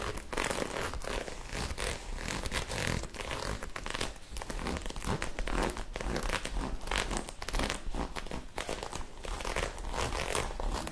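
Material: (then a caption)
Knit fabric. Long acrylic nails quickly scratch and rub a soft magenta ribbed knit sweater. The result is a steady, dense run of fast, scratchy rustling and crinkling with a low, muffled body and no pauses.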